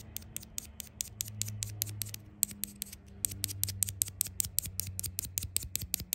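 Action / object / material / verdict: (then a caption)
tap / small hard plastic tub tapped with fingernails / hard plastic / none. A miniature Mini Brands replica of a butter spread tub, a hollow hard-plastic tub a few centimetres wide with a yellow snap lid, is held in one hand and tapped and scratched with long acrylic nails. About 32 sharp, bright, dry clicks come in a quick, uneven rhythm, with faint scratching between them over a soft low hum.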